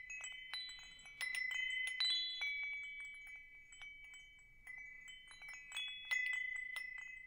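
A hanging wind chime with hollow metal tubes is held up and tapped with fingertips above the microphone. Bright, overlapping metallic chimes ring out around 2 kHz in irregular clusters, with high shimmering overtones. Each strike fades quickly into a soft tinkling tail.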